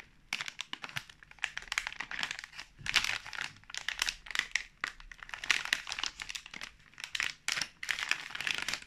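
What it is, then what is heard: Crinkling plastic film snack pouch. A sealed, full pink plastic film marshmallow pouch is turned over and squeezed in both hands while fingertips rub and crinkle the film. Dense, bright crackling comes in quick overlapping bursts with almost no low end.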